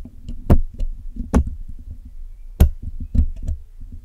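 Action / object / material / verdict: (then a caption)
scrape / woven metal mesh microphone grille / metal mesh / none. A hooked metal dental pick and metal tweezers, held in fingertips with long nails, scratch and pick at the black woven metal mesh grille of a Blue Yeti microphone, a hollow dome with pink fabric visible behind it. Close, deep thumping knocks and scrapes come through, with a few sharp, bright clicks standing out above a steady low rumble of small taps.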